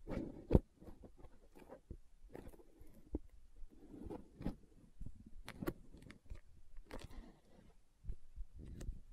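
Long nails tap and scratch the side wall of a green plastic aloe gel tub, making quiet, dry clicks mixed with soft scraping rustles. The taps are short and sharp with almost no ring, one louder click standing out early, over a low, dull body.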